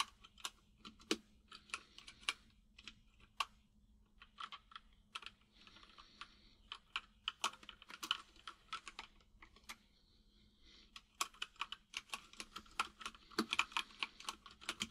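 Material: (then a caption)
Plastic. Fingertips of both hands type on a full-size mechanical keyboard with white and grey plastic keycaps and a hollow case, producing quick, bright, clicky key taps that die away almost instantly. The taps come in uneven bursts with brief pauses, over a faint steady low hum.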